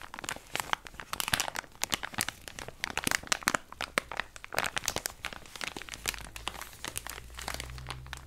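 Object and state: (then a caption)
Plastic wipes pouch. A small, flexible cream-and-gold plastic wipes pouch with a round white lid is squeezed and crinkled by latex-gloved hands. It makes a dense run of sharp, bright crackles and crinkles with quick decays. A faint low hum sits underneath toward the end.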